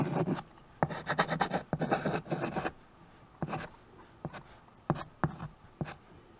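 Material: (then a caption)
Chalk. A white chalk stick writes "Please subscribe for more" across the dark surface of a small framed chalkboard held by hand. Dense, gritty scratching and rubbing strokes fill the first few seconds, then give way to sparser, shorter taps and strokes with quiet gaps. The sound is dry and mostly low-to-mid in tone.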